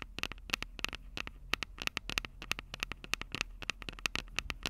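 Long acrylic nails tap the mic capsules of a Tascam DR-05 handheld recorder, a plastic body with metal mic grilles, in a rapid, uneven series of about 32 taps. Each tap is a sharp, dry click with a bright tone near 2.6 kHz and almost no ring. A faint low rumble and soft crackle sit steadily underneath.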